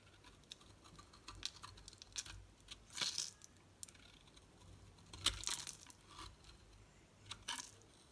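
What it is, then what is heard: Bar soap being shaved. A solid green rectangular bar of soap with a textured surface is held in the hand and cut and shaved with a metal utility knife blade. Quiet, crisp, bright scraping and crunching strokes come in irregular bursts, with a few longer, louder shaving passes standing out among the shorter clicks and ticks.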